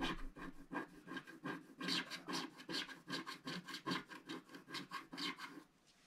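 A wooden stick scratches the black coating of a flat, solid scratch-art card page near its right edge. About fourteen short, dry, rasping strokes come in an uneven rhythm, each a bright scrape with a low papery body. The scratching stops just before the end, leaving near silence.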